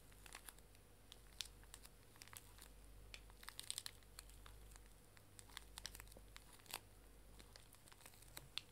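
A small pink plastic-film pocket tissue pack, full of tissues, is held in both hands and crinkled and squeezed with fingertips and long dark nails. Many quick, sharp, bright crackles and crinkles come in irregular clusters over a steady low hum. The loudest snaps come around the middle and near the end.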